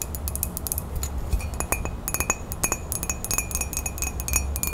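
A ceramic coffee mug with a woodland print, held in both hands, has its side tapped rapidly with long fingernails. The result is a quick, uneven run of bright, short glassy clinks over a steady low hum.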